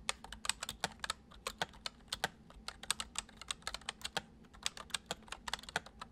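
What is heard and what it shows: Fingertips of both hands tap the keys of a full-size white plastic computer keyboard with keycaps resting on a wooden desk. A steady stream of quick, bright plastic clicks follows, each dying away almost instantly, with little low end.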